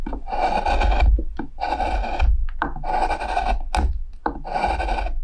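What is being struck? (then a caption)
Wooden plate being carved with a gouge. A metal spoon gouge carves the rim of a pale, solid wooden plate with a handle, held on a wooden workbench among shavings. Repeated long rasping strokes scrape through the wood, separated by short scratchy catches, with a dry cutting texture.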